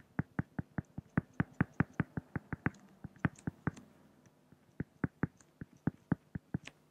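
A pen makes drawing strokes on a flat, solid acrylic glass (plexiglass) sheet, producing 29 short, dry taps with a low body near 160 Hz and brief bright clicks on top. The taps come in a quick, steady run, pause briefly around the middle, then resume more sparsely, each dying away almost instantly.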